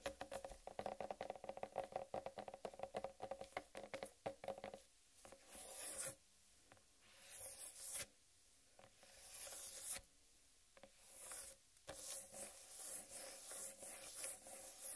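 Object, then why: Whole watermelon rind. Long red nails scratch down the striped rind of a large, solid whole watermelon. Quick, dense scratching strokes come first with a hollow mid-range tone, then give way to slower, longer scrapes that rise into a bright hiss and fade between strokes.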